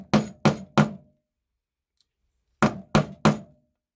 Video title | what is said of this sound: Making a leather bracelet. | keep doing that until you hear that audible difference. Tap it a little harder. Okay. There we go. Nice and solid.